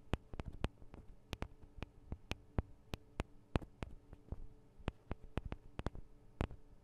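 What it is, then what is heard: Fingernail tapping on metal microphone capsules. Long acrylic nails tap on the two small cylindrical metal microphone capsules of a Tascam DR-40 recorder. The result is an uneven series of about 22 quiet, very short, bright clicks with almost no ring. A steady low hum runs underneath.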